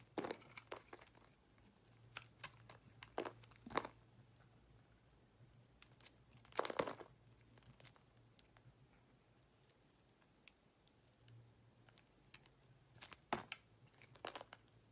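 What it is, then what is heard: Soap bar being shaved with a blade. A utility-knife blade shaves flakes from the surface of a solid pink soap bar held in the hand. Quiet, scattered scraping and crisp crinkling bursts come at irregular intervals, with a few louder, longer shaves over a faint, steady low hum.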